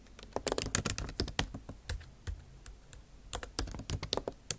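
Long acrylic nail tips tap across the bare plastic keys of a MacBook Pro backlit keyboard set in an aluminum body. Quick, crisp clicks with bright edges come in uneven bursts with short pauses between them. Each tap dies away almost instantly.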